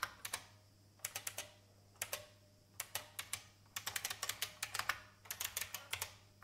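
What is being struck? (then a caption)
Plastic mechanical keyboard. Fingertips of both hands with red nails type on a vintage beige plastic IBM mechanical keyboard with hollow keycaps. About 28 sharp, bright clacks come in quick bursts separated by short pauses, each snapping off almost instantly. A faint, steady low hum sits underneath.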